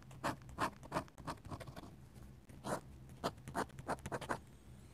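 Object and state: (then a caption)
Dip pen scratching on sketchbook paper. A steel dip pen nib scratches and hatches ink across a flat paper sketchbook page in quick, irregular strokes. Each stroke is a short, dry, scratchy burst with a bright edge. A faint steady low hum sits underneath.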